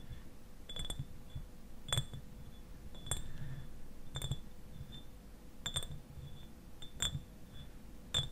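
Fingernails tap the glass sides of a clear, medium-sized glass eyewash bottle that is partly filled with liquid and standing upright. Each tap is a sharp, bright click with a brief high glassy ring, coming at an uneven pace. A low rumble and a faint steady hum sit underneath.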